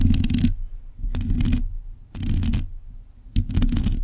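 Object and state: Metal microphone grille scratched.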